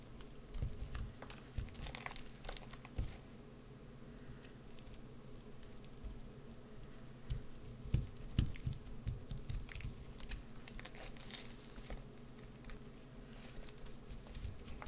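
A green soap bar held in the hand is scraped and carved with a white-handled carving tool, and the shavings pile up below. The sound is quiet, irregular crunchy scraping, mostly low and dull, broken by short, sharp clicks and brief bright ticks that die away almost at once.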